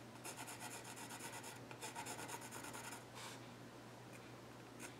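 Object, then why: Wooden stool top with pencil. A yellow graphite pencil scratches and shades across the flat top of a solid, dark-stained wooden child's stool. Quick, bright, raspy back-and-forth strokes run for about three seconds, followed by one longer stroke and then softer, sparser scratching. A steady low hum sits underneath throughout.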